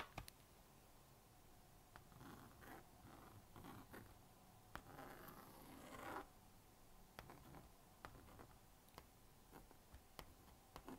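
A plastic magnetic stylus scratches across the honeycomb screen of a small blue-and-pink plastic magnetic drawing board while drawing a cat. Quiet, dry scraping strokes swell and fade, the longest and brightest around the middle, broken up by sharp, short ticks as the stylus taps and lifts from the screen.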